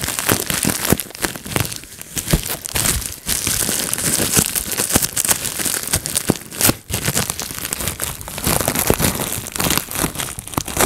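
A clear plastic bubble wrap sheet resting on a lap is pinched by fingertips, popping bubbles one after another. Dense, sharp pops and crinkling plastic rustle continue throughout, with bright crackly snaps over the steady handling.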